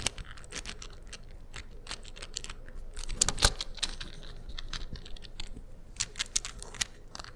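A hand-sized, 3D-printed beige plastic infinity cube made of small hinged blocks, hollow or lightly infilled, is folded and unfolded with fingertips and short-to-medium nails. Its blocks make quick, bright, dry clicks against each other over a soft, steady background. Light tapping and rubbing on the textured printed surfaces accompany the clicks, with a few sharper snaps standing out.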